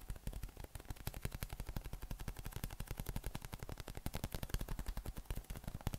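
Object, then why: Inflated PVC spiky massage ball. A yellow hollow inflated PVC spiky massage ball with nubs, held in the hands, is tapped rapidly with the thumb and fingers. The result is a fast, steady run of short, dull, low thumps with very little ring, like a muffled drumroll.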